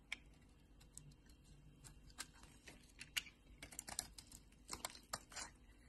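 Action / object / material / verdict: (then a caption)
scrape / bar of soap shaved with a knife blade / soap / none. A utility knife blade shaves the surface of a solid pink bar of soap held in the palm, peeling off thick curls. The result is a quiet series of short, crisp, bright scraping ticks with uneven spacing, clustering more densely toward the end.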